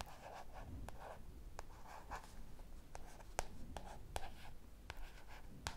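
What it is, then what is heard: Paperback book cover scratched and tapped with fingernails. A light blue paperback book with a paper cover, held upright in both hands, is scratched and tapped on its front cover with long dark purple painted nails. Soft, continuous papery scratching runs under sharp, brief taps that stand out as crisp clicks, and faint whispering may be mixed in.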